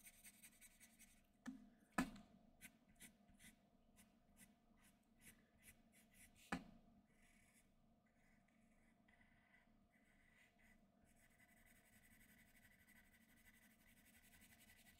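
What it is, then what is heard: Pencil on drawing paper. A sharpened graphite pencil makes light scratching strokes on a flat white drawing sheet, heard as quiet, brief, bright scratches in quick succession through the first seven seconds. Two sharper, louder taps stand out near the 2- and 6.5-second marks. The rest of the clip settles into faint, steady rubbing and a soft hiss.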